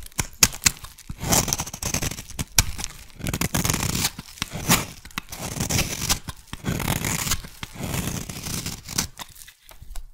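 A solid teal soap bar is shaved with a metal blade into fine white-teal curls. Repeated crisp scraping and cutting strokes come in bursts, each a bright, papery tearing hiss with short sharp clicks and a soft low body, separated by brief pauses.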